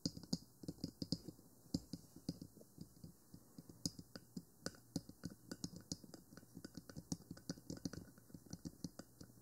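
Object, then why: Plastic microphone housing. Long nails tap and scratch the top of a 3Dio Free Space, a small black plastic binaural microphone box with silicone ears. About 37 quick, dry taps sound in an uneven rhythm, each with a soft low thud and a bright clicky edge that dies away at once, with faint scratching between them. The whole clip stays quiet.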